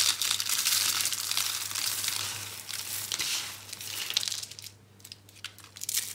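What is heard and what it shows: Small hollow, dry brown-pink soap curls are squeezed and crushed between bare hands. The result is a dense run of bright, dry crinkling crunches. It is loudest early on, thins out toward the end, and has a steady faint low hum underneath.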